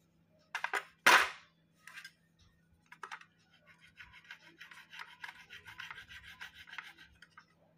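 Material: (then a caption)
Clay-stone. A steel knife blade scrapes and shaves a solid, fist-sized chunk of soft white slate (chalky clay-stone) held over a ceramic plate covered in white powder, shedding powder as it goes. A few sharp, bright scrapes, the second strongest, give way to a run of quick, lighter rasping strokes.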